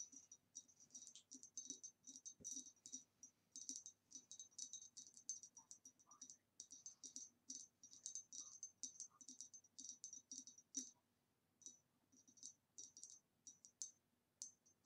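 Long nails tap rapidly on the neck of an upright, hollow, empty, ribbed green retro glass vase. The result is a stream of bright, quick clicking taps in irregular bursts, each with a thin high glassy ring that fades almost at once.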